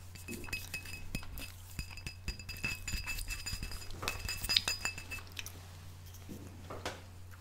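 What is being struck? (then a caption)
Glass wine bottle. Tapping on a glass bottle of Spanish rosé cava gives a run of quick, bright glassy clinks with short ringing tones up high. A steady low hum sits underneath throughout.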